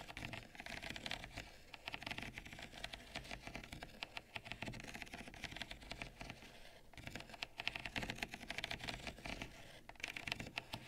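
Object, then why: Small ribbed ceramic bowl with seeds. Long nails rapidly tap and scratch the outer wall of a small, hollow, ribbed peach ceramic bowl, held at its sides in both hands and partly full of roasted pumpkin seeds. The result is a dense, steady stream of bright, dry clicks and scrapes that die away almost instantly, over a soft low rumble.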